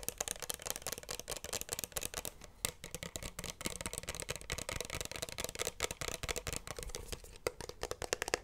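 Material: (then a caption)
Plastic. A small pink plastic bottle with a cap, which looks hollow, is held in both hands close to the microphone and tapped and scratched with fingertips and nails. Quick, dry, bright clicks and scratchy rustling come in a fast, uneven stream throughout. Each tap dies away almost instantly.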